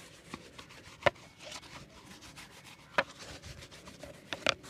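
The bristles of an orange-handled shoe brush rub across a hollow, empty brown leather slip-on shoe held on a wooden board. A soft, steady scratchy brushing continues throughout, broken by a few sharper, brighter strokes that stand out above the rustle.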